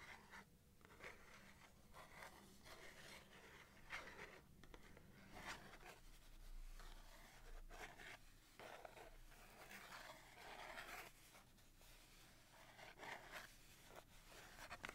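A small red and yellow cardboard box of 250 wooden matches, hollow and filled with matches, is held in both hands and scratched and tapped with long dark-painted nails. Quiet, dry scratching and crisp papery taps repeat throughout over a low steady hum.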